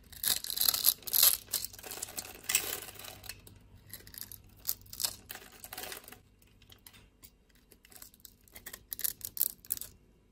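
A utility blade scores a solid pink bar of soap held in the palm and scrapes off cubes, making crisp, bright scratching and crackling bursts. The scrapes come in irregular clusters, busiest at the start, quieter through the middle, and picking up again near the end.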